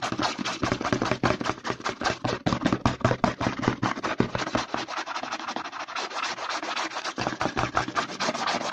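Short nails and fingertips scratch and rub fast along the side of a white plastic CeraVe lotion bottle held upside down. The result is a dense, irregular stream of dry, broadband scratches and rasps. The short, quick strokes fall at a steady loudness with almost no ring after each one.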